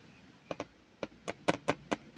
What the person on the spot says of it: Ayan talaga ang tunog ng metal.